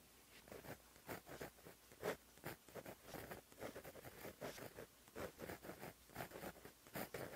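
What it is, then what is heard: Pen writing on a paper notebook page. A white gel pen writes continuous Korean script on a flat, black, lined paper notebook page, its tip scratching across the surface. The result is a quiet, steady run of short, dry scratching strokes, with brief bright bursts and a low-mid body, and no other sound.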